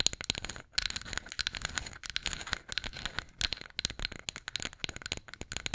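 A flat, solid light-wood spatula is scratched and tapped with long nails close to the mic. The result is a dense run of quick, dry clicks and scratchy rasps, bright and crisp with almost no ring, in uneven bursts broken by brief pauses.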